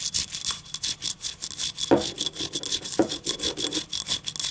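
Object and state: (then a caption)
Ceramic cup scratched with nails. Long nails scratch and rub rhythmically along the ribs of a small, hollow, yellow ribbed ceramic cup tilted in the hand, producing a steady stream of bright, crisp scraping strokes. Twice, near the 2- and 3-second marks, the cup rings out briefly with a hollow mid-pitched tone before the scratching continues.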